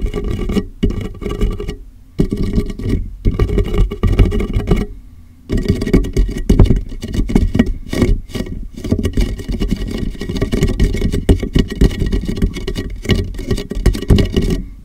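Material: Plastic.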